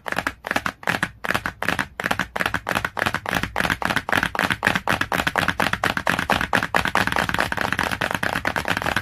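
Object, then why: Glossy cardboard hardcover book. Long, clawed nails tap rapidly on the glossy cover of a cardboard hardcover book, making a quick stream of dry, crisp clicks with a bright papery edge. The taps start in small spaced bursts and then speed up into a dense, nearly continuous patter, each click dying away almost instantly.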